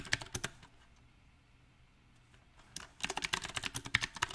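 Fingertips type on a backlit compact mechanical keyboard with round typewriter-style plastic keycaps set on a silver metal frame. A few sharp, bright clicks open the clip, followed by a quiet pause of about two seconds. Then a quick, uneven burst of crisp keystrokes runs to the end.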